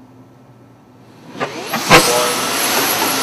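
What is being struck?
Nothing is struck.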